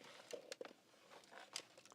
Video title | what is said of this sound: Opening Old Mac MYSTERY BOXES | something loose inside of here